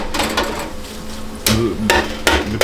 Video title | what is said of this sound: Ein Mann, Ein Rezept!! Kultklassiker in Österreich seit 1950 - Bosna Innsbruck | khoai tây chiên phải "hát". Chúng phải "hát".